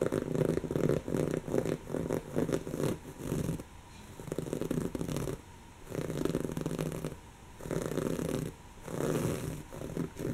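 Long natural fingernails scratch a soft, stuffed, brown textured woven-fabric cushion. Rough, raspy scratching comes in repeated bursts with short quiet gaps between them. The sound is muffled and full, sitting mostly in the low-mid range.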